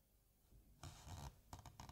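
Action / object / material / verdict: scrape / paper pages of a hardcover book / paper / none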